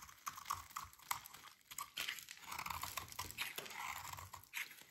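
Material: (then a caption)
Soap. A metal utility blade carves and scrapes chunks and shavings from a solid, dry, pink rectangular soap bar held in the hands. Quiet, dry crunching and scraping is heard as a series of short, bright strokes with a mid-range rasp around 1 kHz. The sound is quick and crisp, with no ring.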